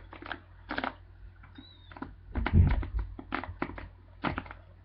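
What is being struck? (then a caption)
Plastic paddle hairbrush bristles. A black plastic paddle hairbrush with dense plastic bristles is held close while fingers and nails scratch and flick the bristles. Short, soft bursts of crackly scratching repeat over a steady low hum, with a louder, fuller rustle near the middle.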